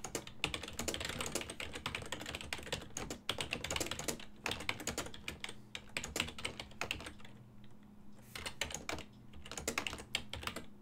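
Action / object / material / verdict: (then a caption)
tap / plastic computer keyboard / plastic / none. A full-size black and silver plastic desktop keyboard, its keys set on a hollow body, is tapped by the fingertips of both hands while typing. Rapid, bright clicking keystrokes come in bursts with brief pauses, over a faint steady low hum.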